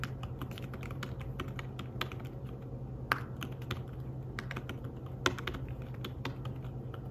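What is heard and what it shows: Fingertips tap the keys of a slim, fabric-covered tablet keyboard while typing, making soft, quick, irregular clicks over a steady low hum. Two taps, at about 3 and 5 seconds, stand out louder and brighter than the rest.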